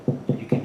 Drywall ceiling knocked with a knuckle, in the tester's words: I tap with my knuckle and listen to the sound. You can hear a hollow sound.